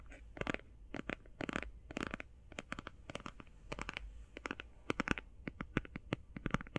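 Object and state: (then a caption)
Cardboard eyeshadow palette. A flat, rectangular, hand-sized cardboard eyeshadow palette is tapped and scratched with long painted fingernails. Quick bursts of dry, clicky taps mix with short papery scratches that reach up into bright highs. Each sound stops almost instantly, over a quiet low hum.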